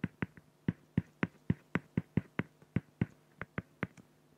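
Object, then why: Felt-tip pen on acrylic plastic sheet. A felt-tip pen makes rapid, short hatching strokes on a flat, clear acrylic plexiglass sheet, scratching the plastic. Seventeen quick, dry taps sound, each a low thump of about 150 Hz with a faint bright tick, dying away almost instantly.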